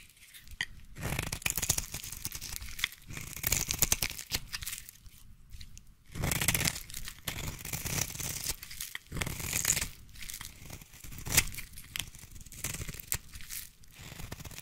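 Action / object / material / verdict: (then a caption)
scrape / solid bar soap cut with a small blade / soap / none. A small blade shaves and carves a solid striped peach bar of soap held in the hand, with curls piling up. Dry, crisp scraping and crunchy tearing strokes come in uneven bursts, bright and papery with a soft low thump beneath, separated by brief quiet pauses.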